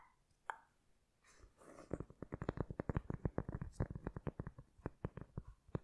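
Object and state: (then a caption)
Cork board tapped with fingernails. A flat, solid, hand-sized heart-shaped cork board, held in both hands, is tapped and scratched with long red acrylic nails. A lone click and a soft scratching hiss give way to a quick run of about 26 dry, short taps, each a dull low knock with a bright tick on top and almost no ring.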